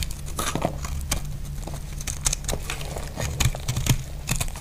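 A utility blade carves shavings off a solid, dry purple (lilac) soap bar. It makes a run of short, crisp scraping and crunching cuts with bright, dry crackle over a steady low hum. Each cut stops quickly with almost no ring.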